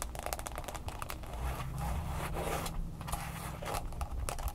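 A smartphone in a mint green plastic case stands upright on a table while long fingernails quickly tap and scratch its sides. The result is a dense run of fast, crisp clicks and rough scratching. A low hum sits underneath throughout.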